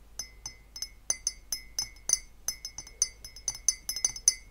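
An empty, hollow, clear glass beer-style mug with a handle, standing in the centre of a table among other glasses, is held and knocked with long painted fingernails. A quick, uneven run of bright, short clinks is heard, each with a high glassy chime that dies away almost instantly over a faint sustained ringing tone near 2 kHz.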